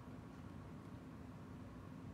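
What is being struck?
Nothing is struck.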